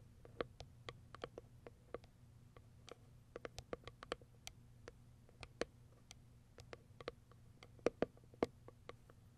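Long white acrylic nails tap and scratch the top of a small white Kiara Sky printed cardboard product box. A run of short, dry, hollow clicks and taps, with a few louder ones near the end, sits over a faint low steady hum.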